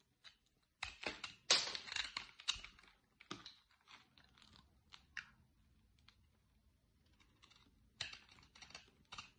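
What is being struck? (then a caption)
Bar of soap cut with a blade. A utility-knife blade carves flakes from the corner of a solid, dry, light green soap bar held in the hand. Crisp, bright scraping and crunching cuts come in irregular bursts, loudest near the start, with quiet pauses between strokes.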